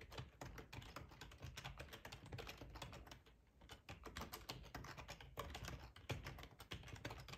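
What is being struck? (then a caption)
Plastic computer keyboard. Fingertips type steadily on a black plastic, hollow-bodied split ergonomic computer keyboard resting on a tablecloth. The clip is a continuous stream of quick tapping key clicks with a low thud under each stroke and a brief pause partway through.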